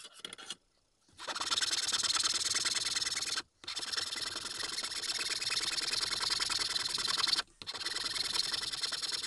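A small, solid, pale wooden tengu keychain mask blank, pressed flat on a green mat, is filed first with a needle file and then with a larger flat metal file. A brief burst of scraping is followed by a pause, then long runs of steady, bright, high rasping strokes broken by two short gaps.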